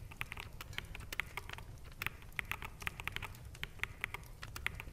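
Fingertips from both hands type fast on a full-size black plastic mechanical gaming keyboard with hollow keycaps resting on a desk. The result is a quick, uneven patter of sharp, dry clicks with a bright tone around 2 kHz. Each click dies away almost instantly over a faint low rumble.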